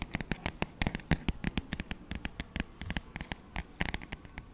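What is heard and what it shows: Fingertips and short nails tap and scratch the thin, glossy paper cover of a flat, solid paperback children's songbook, Doc McStuffins "Happy, Healthy Songs," held up in front of the mic. A quick, irregular run of soft, dry taps with brief scratchy textures fills the clip, each tap dying away almost instantly.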